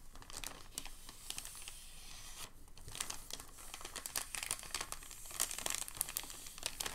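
Fingers grip a thin, crinkled sheet of packing paper and fold its edge over, crinkling the paper. The result is a dense, continuous run of sharp, bright crackles and rustles, mostly high-pitched with little low end. It has brief louder snaps throughout and no ringing after each crackle.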